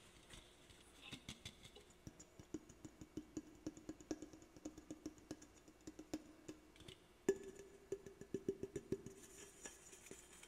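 Fingernails tap and scratch the side of an aluminum soda can held sideways close to the mic. Quick, dry taps with a short hollow ring around 390 Hz come in irregular bursts over a soft scratching hiss. A sharper, louder tap lands about two-thirds of the way through.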